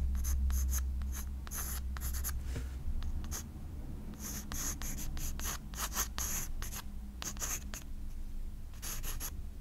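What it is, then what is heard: Pencil drawing on a sketchbook page. A graphite pencil scratches flowing hair lines across a white paper page of a spiral sketchbook. Quick, bright, dry scratching strokes come in short irregular bursts over a steady low hum.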